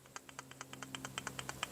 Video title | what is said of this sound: CT200H Inverter Pump Replacement Part 2 | when I grab this pump and shake it you can hear a little rattle